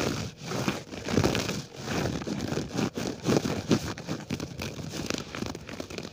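An open hand scratches and brushes the pile of a flat grey low-pile synthetic carpet on the floor, its fingertips moving beside a small silver mini microphone lying on the carpet without touching it. The result is a dense, crackly rustling scrape that comes in quick, uneven bursts, weighted toward low and middle tones with only a faint bright edge.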